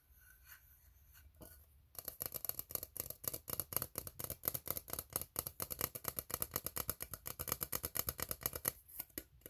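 Fingernails scratch the bottom rim and ribbed sides of an empty, hollow, ribbed steel tin can. After about two seconds of faint, quiet rustling, a rapid, uneven series of bright, scraping strokes with a thin, high metallic rasp continues steadily to the end, easing slightly just before the clip finishes.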